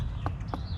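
Two knocks on the trunk of a palm tree, heard as short, dull thuds over low rumbling background noise. The trunk sounds solid, almost like concrete, unlike the hollow-sounding one before it.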